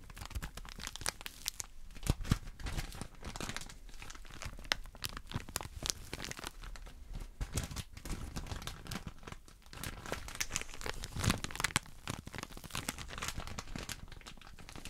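A small pink patterned package wrapped in clear plastic film is held in both hands close to the microphones while fingertips rub, squeeze and crinkle the wrapper. The result is a steady run of dense, crackling crinkles and sharp snaps across a broad band, bright on top with a low rumble beneath, and a few louder crunches stand out.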